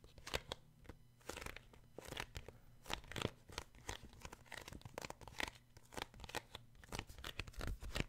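Fingertips tap and grip the glossy card cover of a solid children's paperback book. The result is a quick, irregular run of short, dry taps with crisp, bright crinkling and scratching, each sound dying away almost instantly. A faint low hum sits steadily underneath.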